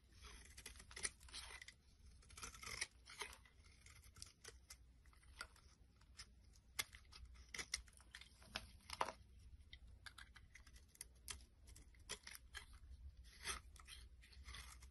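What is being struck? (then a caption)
Bar of soap. A utility knife blade shaves and scrapes a solid purple bar of soap held in the palm, making a run of crisp, bright rasping strokes in quick, uneven bursts over a faint steady low hum. Curls and flakes of soap fall onto a wooden surface.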